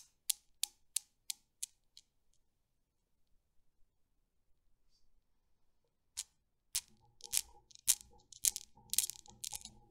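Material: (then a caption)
Steel. Hands with long dark nails lift and release the small solid chrome steel balls of a desktop Newton's cradle, hung on strings over a mirrored base, so they knock into each other. Six sharp, bright clacks fade in even steps, followed by a near-silent pause with faint taps. A burst of rapid, irregular, louder clacking then sets in.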